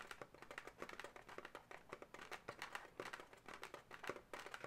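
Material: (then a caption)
Latex. Long natural nails scratch and tap the segments near a twist on a pale pink twisted latex balloon animal, a hollow, air-filled figure. The result is a quiet, dense run of dry squeaky scratches and light, quick taps on the taut rubber. Each sound dies away almost at once.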